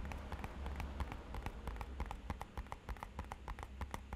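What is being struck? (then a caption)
Small rigid cardboard box. Fingernails and fingertips tap quickly on the side of a small, rigid, matte-black hollow rectangular cardboard box. The taps come as a fast, uneven run of short, dry clicks that stop almost at once, over a steady low rumble.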